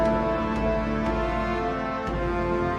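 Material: Nothing is struck.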